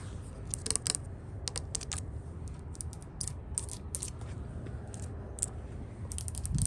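Long nails tap and scratch across the top rail of a solid, white-painted wooden porch handrail. Quick, dry, bright clicks come in irregular clusters, each dying away almost instantly. A steady low rumble runs underneath throughout.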